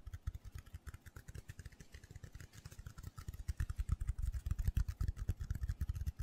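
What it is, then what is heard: Foam cylinder tapped and scratched. A hand-sized black foam cylinder with a center hole, possibly a windscreen, is held in both hands and tapped and scratched quickly with fingertips and short nails. A rapid, uneven stream of soft, muffled low thumps builds gradually louder, with faint brighter scratchy ticks over the top.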